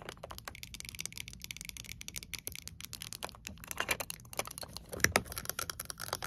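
Long acrylic nails rapidly tap and scratch the hard plastic flip-top lid of a large pink water bottle with a fabric sleeve and carry strap. The result is a dense, uneven stream of quick, bright clicks with brief scratchy rasps and almost no ring.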